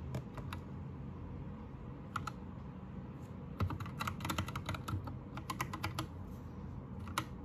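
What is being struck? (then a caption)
Mechanical keyboard with plastic keycaps. Fingertips type on a white 60% Anne Pro 2 mechanical keyboard with plastic keycaps and blue lighting. A few short, sharp clacks open the clip, then a pause and a quick pair, before a dense, uneven flurry of bright, crisp keystrokes. The typing ends in one last tap over a steady low rumble.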